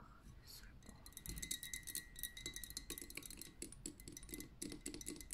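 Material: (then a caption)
Glass. Long nails on both hands tap rapidly across a pink lava lamp, a tapered glass vessel full of liquid and wax on a metal base. The result is a quiet, continuous flurry of crisp, bright clicks with faint high glassy pings that die away almost instantly.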